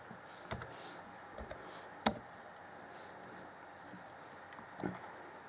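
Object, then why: Plastic laptop keyboard keys. Fingertips of both hands tap the black plastic chiclet keys on the grey keyboard deck of an Acer Chromebook C20 (2014) laptop. A few soft, sparse, bright clicks come through over a quiet background hiss, with one sharper, louder key click standing out near the middle. Each click dies away almost instantly.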